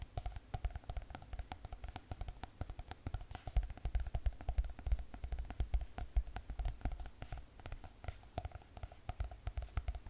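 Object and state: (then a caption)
Spiral notebook with hard cardboard cover. Long painted fingernails tap rapidly on a closed spiral notebook with a hard cardboard cover. The dense, uneven stream of short, dry taps has a soft, low, thuddy body and a faint click with little ring. The taps run steadily for about ten seconds.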